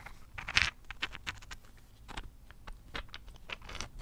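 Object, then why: Rose quartz crystal chunk. Long painted fingernails tap and patter across a large, solid, rough pale-pink rose quartz chunk held in both hands. The result is a loose run of quick, dry, bright clicks and light scratchy taps that die away almost instantly, with one louder tap near the start.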